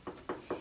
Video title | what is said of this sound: Colchester CASTLE - Guided tour | sounds like stone. It's actually baked clay.